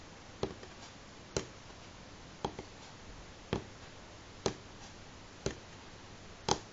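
Slow single fingernail taps on a solid light pine wooden tabletop, seven short dry clicks spaced about a second apart. Each tap has a sharp bright attack with a little body near 400 Hz and dies away almost at once over a faint steady background hiss.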